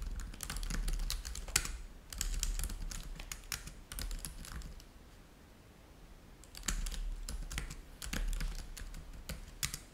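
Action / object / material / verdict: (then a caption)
tap / plastic laptop keyboard / plastic / none. Fingertips of both hands type steadily on a black laptop keyboard with plastic keys, producing rapid, short, bright clicks over a low rumble. The typing pauses briefly in the middle of the clip, then resumes at the same steady pace.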